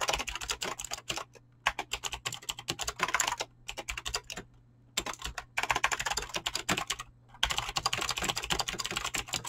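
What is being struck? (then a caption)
Mechanical keyboard with plastic keycaps. Fingertips type fast across a backlit, full-size mechanical keyboard with pink and blue PBT plastic keycaps and clicky green switches. The result is rapid bursts of bright, sharp clicks and clacks with brief pauses between them. A faint steady low hum sits underneath.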